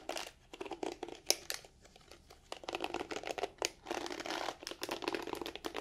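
Long nails scratch and brush through the black plastic bristles of a pink plastic detangling brush. Quick bursts of dry, bright crackling and ticking come in uneven flurries, with a quieter stretch near the two-second mark before dense scratching resumes.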